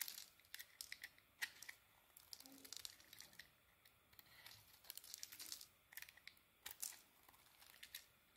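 A small metal blade held against a solid, mostly unwrapped beige bar of soap, held in a hand with a finger wrapped in tape, scrapes off thin curls and chunks. The result is a quiet series of dry, bright, crisp scratching and crinkling strokes with almost no low end and no ring, separated by short pauses.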